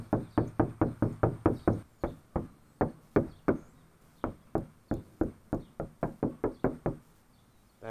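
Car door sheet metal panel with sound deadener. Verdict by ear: Damped.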